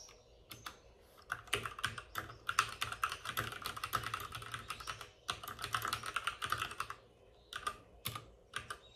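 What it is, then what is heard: Plastic mechanical keyboard. Both hands tap with short-nailed fingertips on a white full-size plastic mechanical keyboard with plastic keycaps and RGB backlighting, resting on a desk with a padded wrist rest. Quick, dry clacks with a bright click around 1.3 kHz come in two dense runs of steady typing, separated by a short pause, with a few scattered taps at the start and end. Each keystroke dies away almost at once.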